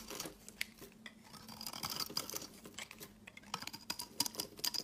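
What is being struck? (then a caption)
Olive oil soap bar. A utility knife blade shaves a solid, pale green rectangular Dalan olive oil soap bar into crumbly curls. The clip is quiet and bright: dry, crackly scraping and rapid crisp ticks, with a faint high whine running through the louder strokes.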